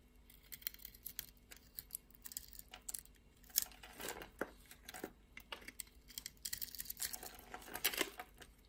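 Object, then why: Bar of soap cut with a metal blade. A metal blade scrapes and carves a solid pink-and-white striped soap bar with a red-green edge, held in a hand with long red nails, shaving off flakes and chunks. Quiet, bright, crisp scratches and crackly crumbling ticks come in quick uneven bursts with almost no ring. The cutting thickens into denser crackling around the middle and again near the end.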